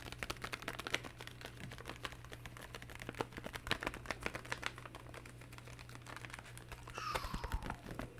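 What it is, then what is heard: Plastic game controller buttons. Fingertips press and tap the buttons of a black, hollow, hand-sized plastic handheld game controller held in both hands, producing a dense run of quick, sharp, keyboard-like clicks. A steady low hum sits underneath, and near the end a faint tone glides downward as the clicking continues.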